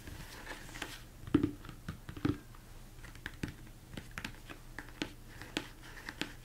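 Fingertips and nails tap on the dome of a large, hollow, empty mixing bowl, likely plastic, turned upside down. The quiet, dry taps come in an irregular run, with the two loudest near the start and a hollow low-mid tone around 300 Hz. Each tap dies away almost instantly.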